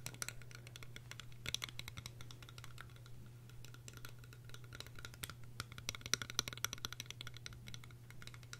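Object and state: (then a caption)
Plastic eyeglass frames. Long red-painted nails tap and scratch along a small, hollow pair of translucent green plastic eyeglass frames with lenses, held in both hands, tapping across the frames and temples. Quick, irregular, bright clicks and faint scratches sound over a steady low hum.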